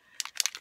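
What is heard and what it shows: A bottle of shimmer gold Color Splash spray is shaken so the mixing balls inside, ball bearings or marbles, stir up the mica flakes settled at the bottom, which would otherwise clog the spray tube. Quick, bright, high-pitched rattling clicks come in short bursts with almost no ring.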